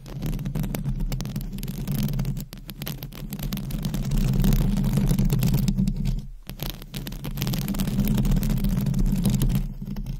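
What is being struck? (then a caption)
Metal mesh microphone grille. Long acrylic nails from both hands scratch a hollow metal mesh microphone grille, producing a dense, continuous rumbling scrape concentrated in the low range. The scratching swells and eases in waves, with brief dips around 2.5 and 6.4 seconds before it resumes.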